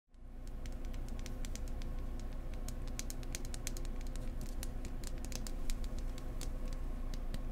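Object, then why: Wooden egg. Gentle, close-up fingertip tapping on a wooden egg produces a rapid, steady patter of soft, bright clicks. A constant low hum sits underneath throughout.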